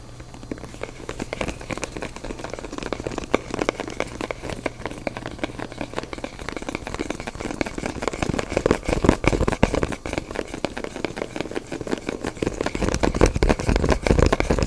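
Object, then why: Small cardboard box. Fingertips and nails tap and scratch the surface and ridged sides of a small, hollow, black printed cardboard phone box. The result is a dense, irregular stream of quick, dry taps and crackly scratches with a hollow low thump. The sound grows louder and busier toward the end.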